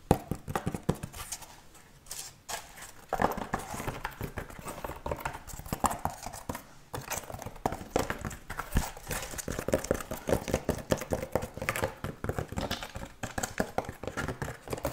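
Rapid fast tapping on a wooden object produces a steady stream of dense, hollow clip-clop knocks with short, dry decay. The tapping pauses briefly near two seconds and again just before seven seconds, then continues.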